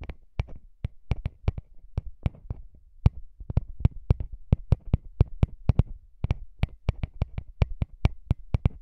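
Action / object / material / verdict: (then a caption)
tap / small metal microphone capsule grille / metal / none. Fingertips tap and rub the small hollow metal microphone capsule grilles on a recorder, close to the mic. A quick, uneven run of sharp, dry taps lands over soft rubbing, each with a low thud and a bright click that dies away almost instantly.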